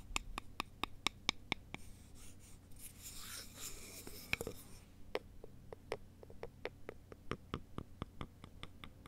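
Two thin, solid wooden sticks are crossed and worked together by both hands: a quick run of sharp, dry taps gives way to a soft, breathy scraping, then more irregular taps follow. Each click is bright and brief, with no ringing after it, over a low, steady background hum.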